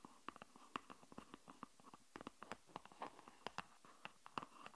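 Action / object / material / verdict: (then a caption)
tap / cardboard spatula / cardboard / none. A cardboard spatula is tapped as an ASMR trigger, giving about 23 quick, dry taps in an uneven rhythm. Each tap is very short with almost no ring, centred on a papery tone around 1.2 kHz with faint high edges, over a quiet background.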